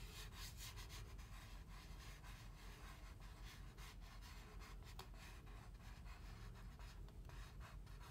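Fingertips slowly rub and scratch along the printed side wall of a large styrofoam drink cup with no lid, held up in the air. The result is a quiet, continuous rubbing with a soft low rumble underneath and faint, bright squeaky scratches recurring in an uneven rhythm.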